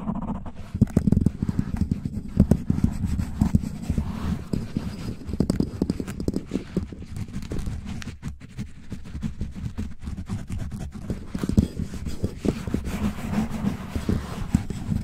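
Fingertips and short nails from both hands scratch the sides of a black foam windscreen on a desktop microphone, quickly and rhythmically. It makes a dense, continuous run of muffled, boomy rubbing and thumping, heavy in the low end with almost no brightness. Each stroke dies away instantly.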